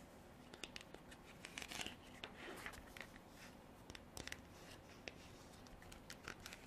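Long black artificial nails tap and scratch a hand-sized, textured, white frosted hard plastic container that is hollow and appears empty. Quiet, bright clicking taps with very short decay are scattered over a soft scratchy rasp.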